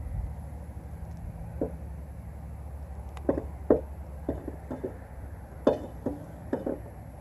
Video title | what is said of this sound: Trying Out the New Kayak | aluminum tapping on the bottom it's my rudder hitting the bottom because so shallow here